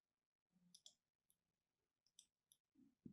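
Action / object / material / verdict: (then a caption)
scrape / soap bar scratched with a metal pin / soap / none. A hand with long red nails scratches and carves the surface of a small, solid, striped pink-and-white bar of soap held in the other hand, using a thin metal needle or pin. Quiet, sharp clicks and scratchy ticks sound, with bright high-frequency sparkle. The clip ends in a few duller, low thuds.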